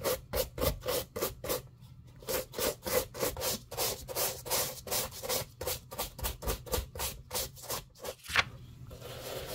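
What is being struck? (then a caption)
Leather shoe scrubbed with a plastic bristle brush. A pink plastic bristle brush scrubs the dry upper of a black leather lace-up shoe, hollow and empty and held in a gloved hand. About 25 quick, bright, raspy strokes come in a steady rhythm, with a brief pause near two seconds. A sharper scrape near the end gives way to a soft, steady hiss.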